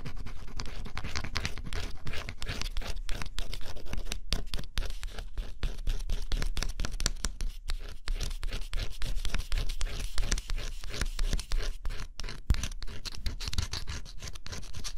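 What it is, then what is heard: Scratch-off cardboard puzzle pieces. A fine stylus scratches the black coating off thin cardboard scratch-off jigsaw puzzle pieces resting on a dark cloth. A dense, continuous run of dry, gritty scratching strokes is heard close up, with a heavy low-end body beneath the bright scraping texture and brief pauses between strokes.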